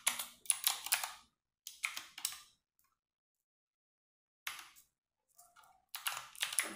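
Fingertips and long nails type on a compact 60% RGB-backlit mechanical keyboard with plastic keycaps in a dark room. Bright, sharp clicks come in quick clusters, separated by near-silent pauses. There is almost no low end.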